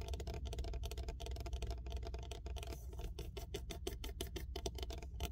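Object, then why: Watermelon rind. Fingertips and fingernails rapidly tap and scratch the hard green rind of a large, full and solid whole watermelon with a sticker on it. The result is a quick, dense run of short, dry ticks and scratches over a steady low hum around 62 Hz.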